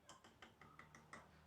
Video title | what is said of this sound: Unboxing dan Review Lengkap Tablesaw Stanley SST 1801 | diketok seperti ini pun suaranya padat tidak kopong